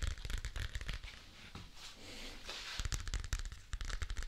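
Fingertips crinkle and crumple a thin, flat, light-blue paper or card folder held in both hands beside a mannequin-head microphone. Quick, irregular crackling snaps with a deep, thumpy low end give way midway to a softer, smoother rustle. Then sharp, bright crackles return in denser bursts.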